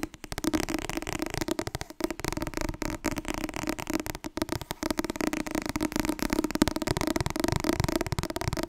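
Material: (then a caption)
Paper. Fast, continuous tapping on the softcover book "Het Wasbord dieet" makes a dense stream of short, dull paper taps with a muffled low-mid tone. The rhythm stays steady for the whole clip, broken only by brief dips near the 2- and 4-second marks.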